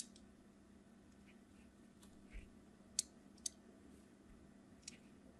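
A craft knife scratches crosshatch lines into the surface of a solid red translucent hard soap bar held in the hand, with repeated strokes. Three short, sharp, bright clicks stand out over a faint, steady low hum, with softer scraping ticks between them.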